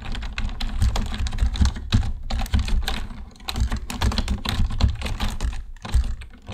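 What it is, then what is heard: Plastic computer keyboard. Both hands type with their fingertips on a black plastic computer keyboard, producing a rapid, uneven run of short, dry key clicks that die away almost at once. A steady low hum sits beneath the typing throughout.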